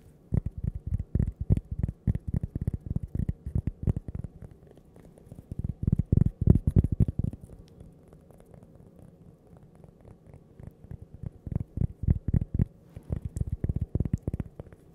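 A small, flat, solid cork coaster shaped like a slice of toast is held close to the mic and tapped and scratched with long painted nails and fingertips. Quick bursts of soft, dull, low taps alternate with quieter stretches of faint scratching. Each tap dies away almost at once.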